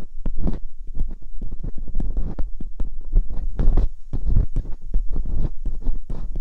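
Metal dental picks scrape inside the ear canals of silicone ear molds on a binaural microphone. The result is a close, muffled stream of deep, rumbling scrapes and soft thumps that sit mostly in the low end, pulsing steadily like a throbbing heartbeat.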